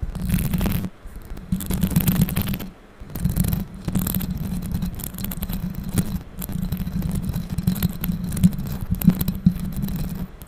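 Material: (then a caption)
Metal mesh. Long pink acrylic nails quickly scratch and tap the hollow metal mesh grille of a bare microphone. The result is a dense, bassy scraping and rustling with a steady low hum, broken by a few brief pauses and occasional sharper taps.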